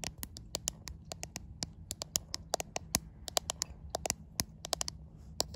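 Long white acrylic nails tap and scratch the glass back panel of a white iPhone with a camera bump, the same phone doing the recording, held up to a mirror. Around thirty sharp, bright clicks land at an uneven pace, each dying away almost instantly over a faint low hum.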